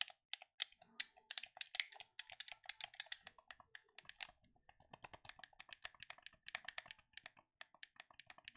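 A black plastic gamepad is held in both hands while fingertips click its buttons and triggers. The result is a quiet, rapid run of dozens of short, dry, bright clicks centered around 2 kHz. Each click dies away almost instantly, with no low end.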